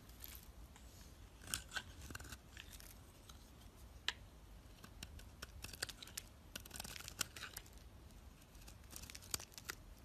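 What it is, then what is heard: Bar of soap being shaved. A utility knife blade shaves brittle flakes off the surface of a solid peach-orange bar of soap held in the hand. The quiet, crisp scraping brings bright, crackling flake sounds and scattered sharp snaps over a low steady hiss.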